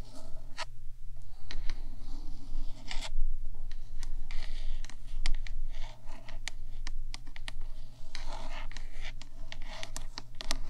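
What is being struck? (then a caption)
Metal microphone housing. Long black nails tap and scratch across the top of the black hollow metal body of a 3Dio microphone, using both hands. Dense, irregular clicks and scratchy bright strokes run throughout, over a steady low hum.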